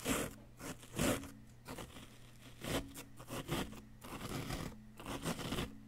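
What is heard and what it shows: A wooden chisel scrapes a solid yellow-green plaster dig-kit block, loosening powder that piles up around it. The clip holds dry, gritty scraping strokes at an uneven pace, with five louder strokes standing out over a faint steady low hum.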